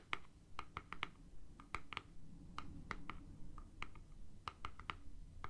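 Fingernails tap and click on the casing of a hollow, hand-sized plastic deodorant stick with a cap, giving about eighteen quick, irregular clicks. Each click is short and dry, with a hollow plastic ring near 1.2 kHz and a brighter overtone, over a soft low background rumble.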